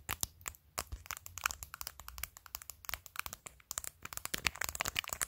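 Long decorated fingernails tap and scratch over a phone's clear plastic case decorated with glued acrylic press-on nails, near the camera module. A rapid, uneven run of sharp, dry, bright clicks mixes with brief crinkly scratches, each tick dying out instantly with almost no low end.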